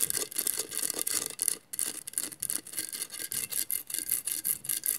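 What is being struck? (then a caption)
Glass mosaic vase. Long matte nails scratch across the tiles of a hollow glass mosaic vase. Rapid, dry, bright scratching strokes come in uneven bursts with brief pauses, almost entirely high-pitched with very little low end.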